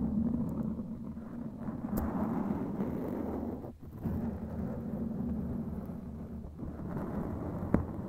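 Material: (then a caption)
Foam. Long glittery claw nails scratch and tap a black foam windscreen over a microphone head. A dense, muffled, low rumbling scratch runs almost continuously with a brief drop near the middle, and a few sharp taps poke through.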